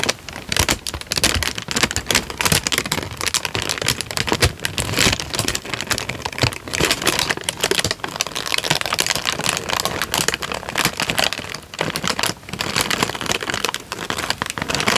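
A thin, light-brown tan paper sheet is scrunched gradually by fingertips into a crumpled ball. A dense, continuous stream of sharp, bright crinkles and crackles runs throughout, easing briefly only once or twice. The paper ends as a tight, crumpled ball.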